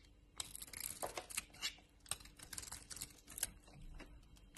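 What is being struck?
Bar of soap cut with a knife blade.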